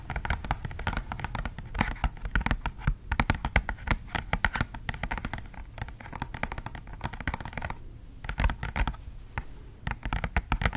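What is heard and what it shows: A small, flat, dark cardboard retail box with a white label sticker is held in both hands and tapped and scratched with fingernails. Rapid, dry clicking taps fall over a steady scratchy rustle, each tap short with a dull, hollow low thump and no ring. Brief quieter stretches break up the tapping.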